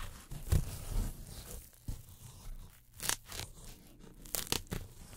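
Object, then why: Polyethylene foam packing sheet. Pink-handled tweezers pluck and tear at the edge of a round hole in a thin white polyethylene foam packing sheet. Seven short, crisp tearing and scratching bursts with bright crackle stand out over a soft, low rustle. Each one cuts off almost instantly.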